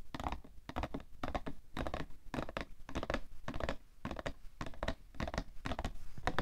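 A fingernail scratches and taps on the sides of a cardboard tissue box, making a steady run of short, dry, papery bursts. The bursts are dull and low-weighted with a brief crackly edge, and each dies away almost instantly.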